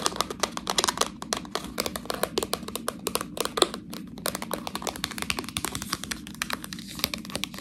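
Long nails scratch and crinkle the film and edges of a full, clear plastic package of fresh tortellini. A dense, steady run of quick, bright crackles and scratchy ticks fills the clip, each sound dry and gone almost at once.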